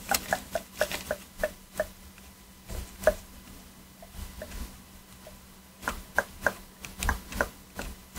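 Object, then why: Hard plastic game controller. A fine metal pick, held steady by a gloved hand, scrapes and taps around the face buttons of a black PS4 controller made of hollow hard plastic. The clip has short, dry clicking taps with a hollow plastic tone around 600 Hz and bright edges, coming in quick bursts separated by quieter scraping pauses.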